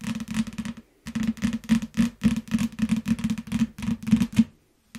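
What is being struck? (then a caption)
Shrink-wrapped paperback book. A yellow paperback book still in its clear plastic shrink wrap lies flat on a mat and is tapped and scratched with the long nails of both hands. Quick, dense bursts of crinkly tapping with a low thud near 227 Hz come in clusters, broken by brief silences.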